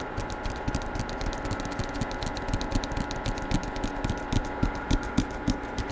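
Fingertips tap on the front cover of a Star Wars hardcover book with a paper dust jacket, held in one hand close to the microphone. The quick, uneven taps come about three to four per second. Each is a short, dull, low-pitched knock that dies away almost at once over a soft background hiss.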